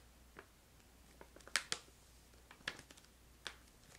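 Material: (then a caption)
Plastic. A medium printed plastic stand-up pouch of crystallized ginger candy is held close and scratched and tapped with long light-blue nails. Short, bright crinkly ticks and clicks come over a quiet low hum, with the sharpest taps near the middle and later in the clip.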